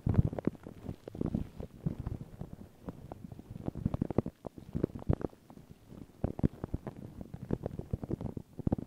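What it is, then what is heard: Paper tissue over a microphone, scratched. Long pink nails and fingertips scratch and rub thin, crinkled white paper tissue stretched over a round microphone head. The result is a steady stream of soft, muffled crackles and scratchy rustles, heavy in low rumble with many short sharp ticks scattered throughout.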